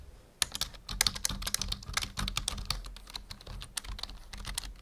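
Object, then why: Plastic computer keyboard. A full-size black plastic membrane keyboard on a wooden desk is typed on quickly with the fingertips of both hands. Dense runs of bright, dry key clicks fall in uneven bursts over soft low thumps, with a faint steady hum underneath. Each click stops almost instantly.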